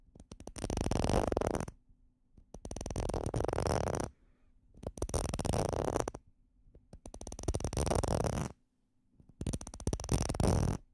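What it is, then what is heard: Plastic bottle cap. Small hollow red plastic bottle caps, one held in each hand, are scratched and tapped with fingernails and fingertips close to the microphones. The sound comes in five dense bursts of rapid, crackling taps and scratches, each lasting about one and a half seconds and separated by short pauses. The tone is soft and mostly low, with a faint high edge.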